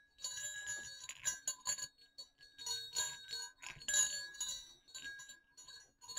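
Two small hollow silver metal jingle bells on a cord are gently shaken and clicked. They give a run of bright, high jingles and tiny clicks with short ringing tones that fade quickly between bursts.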